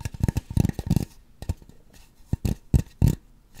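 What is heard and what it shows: Long nails scratch and tap over the back and top of a white polystyrene foam mannequin head. A quick cluster of dry, hollow, low thuddy taps and scrapes fills the first second, then after a pause scattered single taps return in an irregular stop-and-go rhythm. Each hit dies almost instantly.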